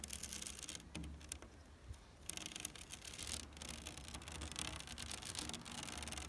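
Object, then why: Woven plastic rattan chair backrest. Long nails and fingertips scratch the backrest of a large black chair made of woven synthetic plastic rattan. The result is a dense, bright, crackly scraping over a steady low hum, with a softer lull partway through before the scratching picks up again.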